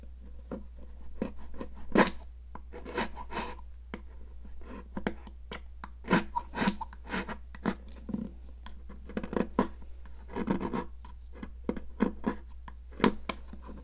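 A hand with long decorated nails holds a solid pink popsicle-shaped sidewalk chalk while a metal palette knife scrapes its end over a plastic mat. Dry, gritty rasping scrapes come in short, uneven bursts with brief pauses, over a steady low hum.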